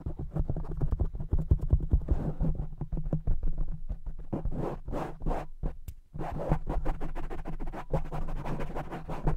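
The soft black foam windscreen on a large silver microphone is tapped and scratched quickly with the fingertips of both hands. This makes a rapid, dense run of muffled thumps and scratchy rustles with a deep, boomy low end. A brief dip in the activity comes just before the six-second mark, then the fast tapping resumes.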